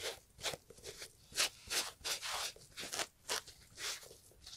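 A gloved hand scrubs the leather upper of a brown Italian leather loafer with cream textile panels and a shoe tree inside, using a green and yellow sponge. About eight quick, bright, hissy rubbing strokes come in an uneven rhythm, each a short scratchy swish with almost no low end.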